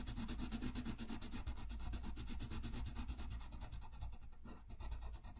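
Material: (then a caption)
Paper. A green-barrelled wooden colored pencil is rubbed and scratched back and forth across a thin sheet of drawing paper (a coloring page) lying flat on a white desk. The result is a quick, steady stream of scratchy strokes with a soft low rumble beneath a bright, papery hiss, easing slightly near the end.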